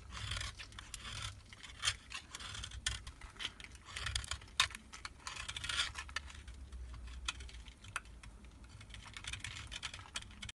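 A solid white Marseille soap bar, held in the hand, is scraped into powder and flakes with a utility knife blade. The result is a steady run of dry, bright, scratchy scraping strokes with sharp crackling flicks, over a faint low rumble.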